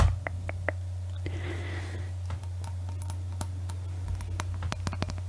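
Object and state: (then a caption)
Glass Christmas ornament. A clear, hollow glass Christmas bauble with an Eiffel Tower inside and "Paris" lettering hangs from a string and is tapped with long nails. Light, sharp clicks and ticks scatter across the clip, with a brief soft scratchy brush partway through. A steady low hum runs underneath the whole time.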